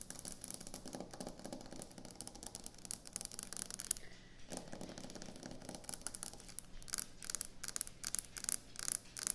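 Long acrylic nails scratch and tap quickly on a flat, solid white speckled quartz kitchen countertop. Dense, bright scraping fills most of the clip, with a short lull around the four-second mark. Toward the end, it turns into a run of sharp, clicky taps.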